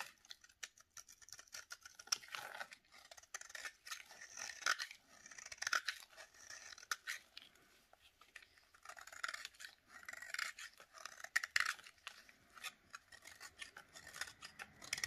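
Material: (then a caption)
Soap. A utility knife blade with a blue handle scrapes and shaves thin curls off a hand-sized, solid rectangular bar of dry yellow soap, held in a black-gloved hand over a plate of shavings. The result is a quiet run of quick, dry, crackly scraping strokes with a crisp, bright texture and no low end. Short bursts of shaving come and go with brief pauses between them.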